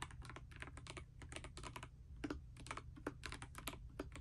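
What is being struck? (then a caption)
Mechanical keyboard with plastic keycaps. A pastel Dust Silver D84 mechanical keyboard with plastic keycaps rests on a bedspread while someone types continuously with fingertips and long nails. Quick, bright plastic clicks and clacks patter in an uneven rhythm over a steady low hum.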